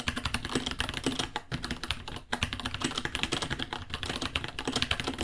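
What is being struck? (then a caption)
Plastic mechanical keyboard. Fingertips of both hands type continuously on a white 66-key mechanical keyboard with Gateron Brown switches, plastic keycaps and a hollow case, about 30 cm long. A dense, steady stream of short, bright clacks comes with a hollow low thock under each keystroke, briefly dipping around the two-second mark. Each click dies away almost instantly.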